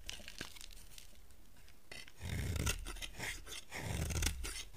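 A solid yellow soap bar held in the hand is scraped and carved with a utility knife blade, and the shavings fall onto a pile. Soft, dry scraping gives way after about two seconds to louder, crunchy, tearing strokes with a heavy low thud and bright rasp, repeating at an uneven pace.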